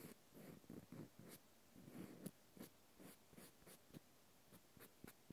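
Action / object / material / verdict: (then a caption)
scrape / small cork stopper scratched with a cotton swab / cork / none. A small solid cork wine stopper held in the hand has its end face scratched with a cotton swab. The result is a series of quiet, dry, low-pitched scratching strokes, each with a faint crisp edge.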